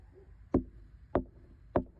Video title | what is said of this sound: Fruits of the Spirit 🍇 - dodderbiii Heavenly Community Stream | This glass is solid. I mean, it's like the glass at a hockey rink.